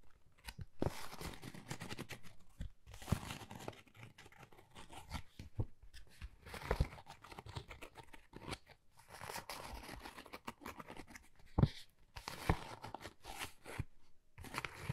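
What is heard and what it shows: A flat, pale pink, pebble-textured Dior card folder with a gold logo, hollow and thin, is held in both hands and scratched and tapped with long painted nails. Quiet bursts of dry, crinkly scratching alternate with short, sharp taps and brief pauses, the sound sitting mostly low with a papery rasp on top.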